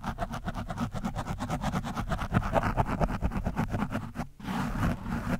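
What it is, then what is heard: Foam microphone windscreen being scratched. A screwdriver tip scratches the orange foam windscreen on a microphone, producing a fast, rhythmic series of rough, muffled scraping strokes with a heavy low-end thump. The strokes briefly drop out near the end, then give way to a steadier, more continuous rasping scratch.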